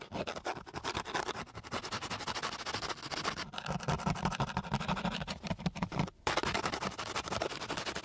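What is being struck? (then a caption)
Sandpaper sheet rubbed with a wooden stick. A flat wooden stick is rubbed with its side and end across a flat, gritty sheet of coarse sandpaper. It makes a dense run of rough, rasping scratch strokes with a bright, hissy edge, pausing briefly near the end before the scratching resumes.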